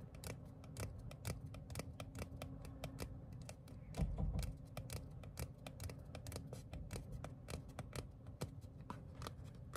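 Fingertips and short nails tap and scratch the printed surface of a small, thin paper cardstock ticket card. Dense, rapid, crisp clicks run throughout over a steady low hum, swelling briefly louder around the four-second mark.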